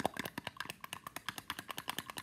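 A bar of soap is tapped about twenty times in quick succession. Each tap is a light, dry click with almost no ring, bright and mid-pitched with little low end.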